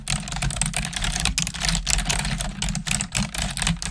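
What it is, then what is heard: Plastic computer keyboard. Long nails and fingertips type on a black plastic desktop keyboard, at times with one finger. The result is a dense, uneven stream of short, bright plastic clicks and taps over a steady low hum.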